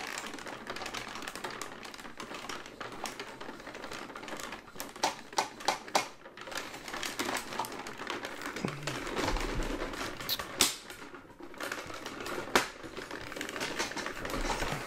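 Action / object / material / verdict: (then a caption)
tap / hollow plastic toy model / plastic / none. A large, hollow grey-white plastic AT-AT walker toy, held beside the microphone, is tapped with fingertips on its leg and body. The result is a steady stream of rapid, dry, clicky taps with a bright edge and almost no ring, with a few louder knocks standing out along the way.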